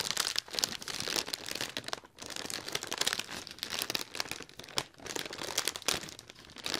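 Fingertips and nails scratch and crinkle the wrinkled surface of a large, hollow, inflated silver mylar foil letter balloon right next to the mic. The result is a dense, bright, crackling crinkle with sharp rustling ticks and almost no low end. It briefly drops quiet around two seconds and again near five seconds.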